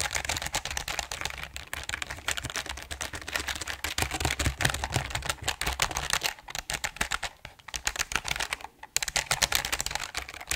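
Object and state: Mechanical keyboard with plastic keycaps on an aluminum plate.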